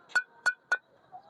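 Two fired clay bricks are knocked together three times, each strike giving a short, sharp metallic clink with a clear ringing tone near 1.5 kHz and bright overtones that fade almost instantly. The metallic ring marks the bricks as properly burnt, good-quality bricks.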